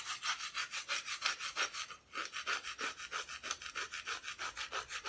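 Long painted nails scratch rapidly back and forth across the unpainted back of a flat, thin, solid plywood cut-out Christmas decoration held at an angle. The result is a steady, rhythmic rasping scrape, bright and hissy above 1 kHz, with a brief pause near the two-second mark.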